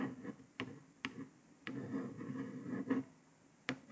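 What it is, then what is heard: Paper sticker on laptop lid. A long nail traces letters across a printed paper sticker on a grey laptop lid, making soft scratchy rubbing with a low hum-like tone. Several nails then tap on it, giving five short, sharp ticks that stand out from the quiet tracing.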